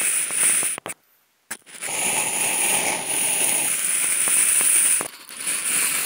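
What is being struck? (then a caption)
Polystyrene foam food container lid. A large, hollow, empty octagonal white polystyrene foam food container lid is scratched with two wooden toothpicks. The result is a bright, crackling scratching that sounds like fizzing firecrackers. It stops briefly into near silence, then resumes as a steady high rasp with a short dip near the end.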